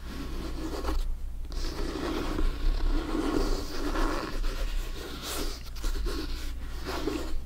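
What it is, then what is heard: Synthetic leather soccer ball. Fingernails scratch and fingertips tap across the top panels of a blue, stitched synthetic-leather soccer ball that is hollow and inflated. The result is a steady, dry scratching texture with soft, short taps over a constant low hum.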